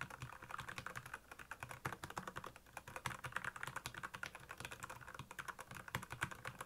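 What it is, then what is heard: Plastic mechanical keyboard. A black plastic mechanical keyboard with backlit keys is typed on quickly by both hands' fingertips. The result is a fast, steady stream of short, crisp clicks that each die away almost at once. The clatter has a bright midrange tone and a light low thump under the keystrokes.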